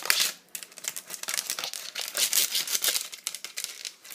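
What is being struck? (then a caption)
Plastic tablet case. Long acrylic nails rapidly tap a held, hollow pink plastic iPad cover on its flat back and perforated edge, with rings on the fingers. The result is a fast, dense stream of bright, crisp clicks and crinkly rattles with no low end, swelling and fading in quick bursts.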